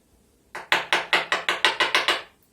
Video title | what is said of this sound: "Лід який?" STREAM - освіта дошкільників | чуєте який гучний дзвінкий звук Отже лід дійсно твердий